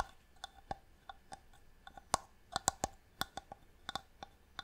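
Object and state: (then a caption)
Inlaid wooden box, hollow. Long nails tap and scratch a small, hollow wooden box with a marquetry inlay lid held in the hand. The result is a quiet, irregular run of sharp, dry taps with a brief hollow knock in the low-mid range and bright clicky edges. Each tap dies away almost at once, and soft scratching fills the gaps between them.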